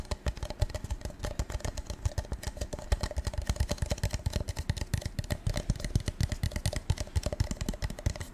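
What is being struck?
Metallic-coated paper cup.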